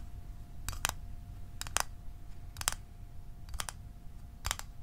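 Fingernails tap the lid and sides of a small, hollow, closed blue Altoids metal mint tin held in the hands. Five evenly spaced pairs of quick, bright, dry metallic clicks sound with almost no ring. Behind them are a faint steady tone and a low rumble.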